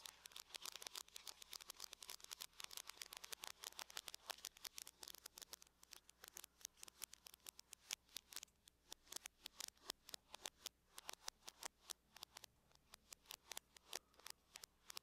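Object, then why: Aluminum laptop lid. Long acrylic nails on both hands tap and scratch in circles across the lid of a closed silver aluminum laptop resting on a table, its hollow shell sounding under the strokes. Many rapid, crisp clicks with almost no ring come in a steady uneven patter, with brief scratchy rasps between them. The sound is thin and bright, centered around 3.3 kHz, with almost no low end.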